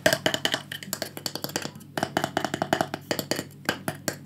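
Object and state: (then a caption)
Small wooden panel. Fingertips with painted nails tap rapidly on a small, thin, solid rectangular light-wood panel with burned pyrography flower drawings, held in the hands. The result is a fast, irregular stream of short, dry clicks and knocks with almost no ring, with a slight pause near the two-second mark.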